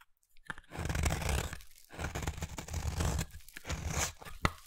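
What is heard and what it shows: A solid round peach bar soap is carved with a utility knife blade into thin shavings. Long crunchy, tearing scrapes swell and fade in several passes, full in the low end with a grainy bright edge. The passes are broken by brief pauses, and a sharp click lands near the end.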